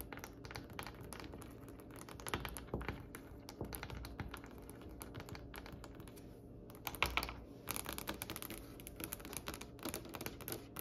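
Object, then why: Polished wooden tabletop. Long painted acrylic nails on both hands tap rapidly across a large, solid, polished wooden tabletop with a glossy reddish-brown finish. The result is a steady, dense patter of short, crisp clicks with a bright edge over a faint low hum. The tapping thins briefly near the middle, then returns in louder, busier bursts.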